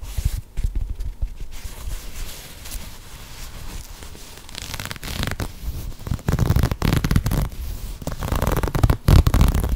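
A hollow, empty green and grey knit textile sneaker is turned in the hands and scratched and tapped with long nails right next to the mic. Dense, irregular scratching and rubbing rumble deep and muffled, broken by quick soft taps that grow louder and brighter toward the end.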